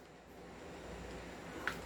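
An upgraded Hi-Capa 2011 airsoft pistol with a fixed outer barrel is shaken and stays nearly silent. Only a faint, steady low hiss is heard, with a single small, bright click near the end. This confirms the outer barrel no longer rattles.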